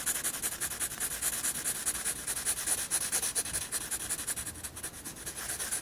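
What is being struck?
Graphite pencil on a paper sketchbook page.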